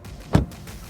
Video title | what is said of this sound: 【Tiguan】ドイツ本国で好評のTiguan試乗体験レビュー！(日本語訳付)｜Volkswagen | the sound sounds solid that's better